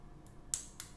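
A fingernail taps twice on the plastic body of a small, expensive 20 W phone charger costing nearly half a million rupiah. Each tap is a sharp, bright, high-pitched click that dies away almost at once. The body sounds very dense and solid, a sign that its thick shell will hold up over long use.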